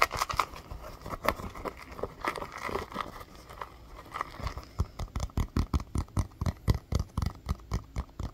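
Fingernails tap and scratch the pebbled surface of a small, hollow, orange rubber mini basketball. Soft, irregular scratching and light taps come first, then a steady run of short, dull, hollow-sounding taps with low thumps and little ring.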